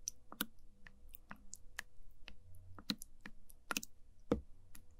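A wooden spoon is dipped into and lifted out of a small translucent plastic cup full of orange sticky jelly pudding. The result is a quiet series of short, sharp sticky squishes and wet clicks, some reaching up bright, over a faint low background hum.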